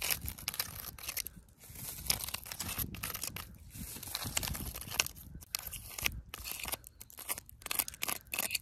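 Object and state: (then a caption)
Tree trunk bark. Long pointed wooden-stick fake nails attached to the fingers scratch and tap a living tree trunk outdoors, solid wood covered in rough, cracked bark. The sound is a dense stream of dry, crackling scrapes and crisp, short taps. It is mostly bright and high with little low end, and brief pauses fall between bursts.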